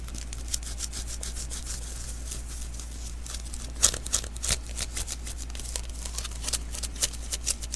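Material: Adhesive paper.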